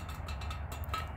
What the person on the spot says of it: but yeah this chair makes some nice metal tapping sounds as well